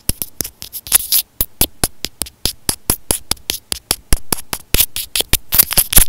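A white plastic inline microphone on an earphone cable, held up in both hands, is scratched and tapped with fingernails. About 29 quick, sharp taps ring out in an uneven rhythm, each a bright click over a deep, boomy thump, with scratchy rustles between them. Each tap dies away almost at once.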